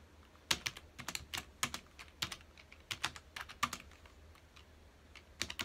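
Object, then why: Plastic computer keyboard. Fingertips of both hands rapidly press the keys of a full-size black plastic computer keyboard resting on a dark desk. Sharp, bright plastic taps come in quick, uneven bursts, each click dying away almost instantly over a faint low hum.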